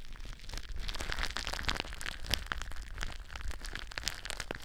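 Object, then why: Plastic bubble wrap. Long blue nails scratch the surface of clear plastic bubble wrap stretched over a mic form. The result is a continuous, dense crinkling and scratching texture with sharp, bright crackles over a low, steady rumble.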